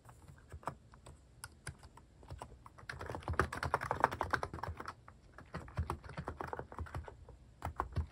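Fingertips type on a cream mechanical keyboard fitted with sculpted plastic cat and paw keycaps. Quick, uneven keystrokes make short, dry clacks with a soft low thump underneath. The typing thickens into a faster, louder flurry in the middle before easing back to scattered taps.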